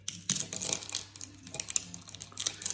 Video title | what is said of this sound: Classic Mince Pies Recipe | how crispy they are if you hear the crunch